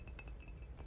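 A ceramic mug themed to the book *Daughter of the Moon Goddess* is tapped several times. Each tap gives a short, bright clink that fades quickly over a steady low hum.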